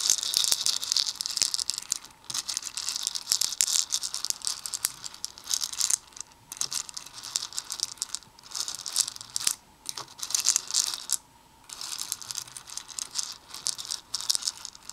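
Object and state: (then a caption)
Plastic beads stirred in a plastic bowl. Black plastic tweezers dig into and stir small hollow plastic Perler fuse beads in a red plastic bowl. The beads give a dense, bright rattling clatter with many quick clicks and a few brief pauses.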